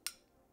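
A single short, bright tap on the metal grille and body of an Alvoxcon A700 USB condenser microphone. It is a quick, high-pitched click that fades almost at once. The microphone's grille, body and bands are all metal.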